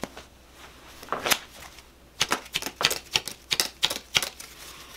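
A full deck of coated paper playing cards with purple foil backs is held in both hands while fingertips riffle, split and cut the packets in a cardistry flourish. The cards flick and snap against each other in a run of sharp, bright, papery clicks that grow denser and louder in the second half, each dying away almost instantly.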